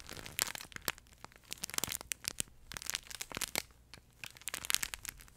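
Fingertips and nails squeeze and scratch the smooth fabric panel of a yellow plush duck pet toy, its head and beak visible, with a crinkle insert inside. The result is a dense run of bright, dry crinkling crackles in quick irregular bursts, each snapping off almost instantly, with little low end.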